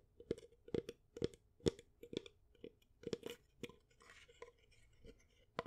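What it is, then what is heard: Wooden picture frame. Long nails tap the wooden edges and glass-covered face of a small, light wooden picture frame holding a painting, held up close. About fifteen sharp, dry clicks land in an uneven rhythm, each with a hollow knock near 430 Hz that dies away almost instantly. A brief, bright scratchy rustle comes midway between them.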